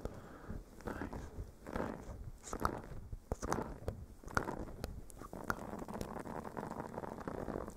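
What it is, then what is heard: Silicone scrubber pad being scratched. A blue silicone bristle face scrubber pad is held over a microphone windscreen and scratched with the fingernails of both hands. The result is a dense, muffled scratching and rustling, mostly low and mid in tone. Occasional sharp clicks and crackles pop out of the texture.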